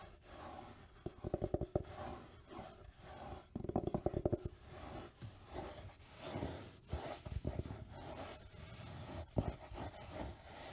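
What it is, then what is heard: Velvet jewelry box, scratched. Long nails scratch and rub across the fabric surface of a closed, palm-sized black velvet-covered jewelry case. Soft, muffled scraping comes in bursts, with clusters of quick dry scratches around 1–2 and 3.5–4.5 seconds and slower brushing rubs between them.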